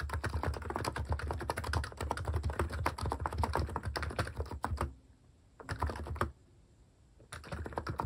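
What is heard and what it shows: Fast fingertip typing on the plastic cat-shaped keycaps of a capacitive keyboard produces a dense run of soft, muted clacks with a deep, thocky low end. The typing stops in two brief pauses near the end before resuming.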